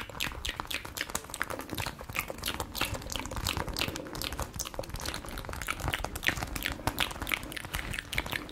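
A small, palm-sized yellow spiky massage ball of rubber or soft plastic, probably hollow, is held in the hands and tapped, scratched and rubbed with long nails and fingertips. It makes a dense, steady stream of quick, crisp clicks and crackly scratches with bright high tones over a soft low rumble.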